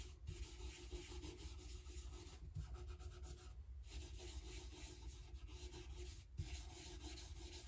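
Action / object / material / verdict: scrape / rosewood guitar fretboard / rosewood / none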